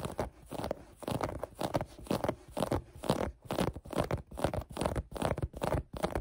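Long painted nails scratch a folded maroon cotton knit sweatshirt held on a table. The result is a quick, uneven series of soft, rough scratching strokes with a dull, mid-to-low tone and almost no bright edge.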